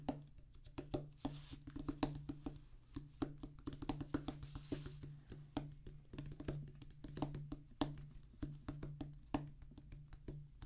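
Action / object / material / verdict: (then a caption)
tap / rubber practice pad on wooden base / rubber / none. A solid black rubber drum practice pad on a wooden base is drummed and tapped with the fingertips and palms of both hands. Quick, irregular runs of dull, dry taps and thumps with very short decay are heard, heavy in the low end with little brightness, over a faint steady low hum.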